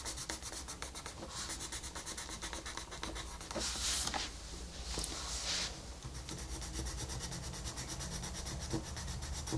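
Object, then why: Colored pencil on a paper page. A colored pencil scratches and rubs across a flat paper coloring book page, shading around a wolf's eye. Quick, steady back-and-forth strokes make a dry, bright scratching hiss over a faint low hum, with two louder, brighter rubbing bursts near the middle.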